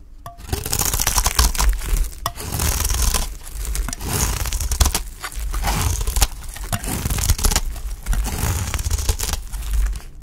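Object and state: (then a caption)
Olive oil soap bar being shaved. A utility knife blade shaves and scrapes thin slices off the edge of a solid green Dalan olive oil soap bar held in the hand, with a pile of soap shavings below. Dense, dry scraping and crunchy tearing strokes come in repeated bursts over a deep low rumble. The bright rasp fades between passes.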